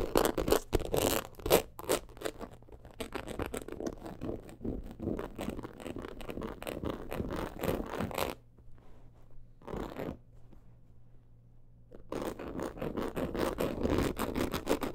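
Long acrylic nails scratch fast across a medium-size, hollow black crocodile-embossed leather purse. The result is a rapid, dry, raspy scratching texture with short crackly bursts. It drops to near quiet for a few seconds in the middle, then picks back up.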